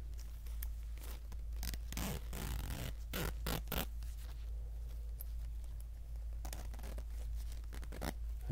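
An empty orange polyester zipper pencil bag, a zipper-strip pouch laid flat, is zipped by a hand pulling the zipper slider along its plastic teeth. Short bursts of bright, raspy zipping come and go over a steady low hum. The rasps stop dead at each pause with no ring.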